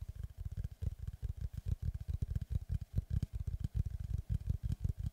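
Fingertips and nails of both hands tap rapidly on the flat face of a large, flat oval slice of solid tree trunk with a bark edge, held upright. About 30 quick, dry, low thuds with no ring form a steady drumming patter over five seconds.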